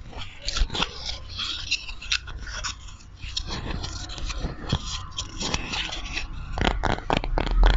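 Fingernails scratch and tap the face and edges of a small, solid, light wooden block or coaster held in both hands near the microphone. The result is a steady run of dry, bright scratching strokes broken by short, sharp ticks, over a faint low rumble. The taps grow denser and louder toward the end.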